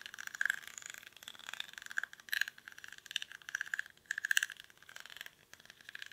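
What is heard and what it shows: Fingernails scratch the weave of a small, hollow woven rattan/reed basket held in both hands. Quick, dry scratching and crackling bursts come in uneven runs, with a bright, papery rasp centered around 1.6 kHz and almost no low end. Each scrape cuts off instantly with no ring.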